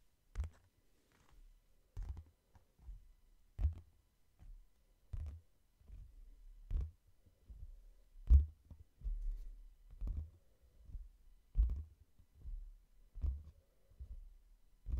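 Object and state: Hardcover book.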